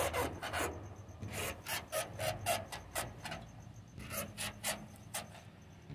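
A wooden door is scratched, with about thirteen short, rough rasping strokes in an uneven rhythm of roughly four per second. Each stroke is a broad, bright scrape that stops quickly, with quiet gaps between them.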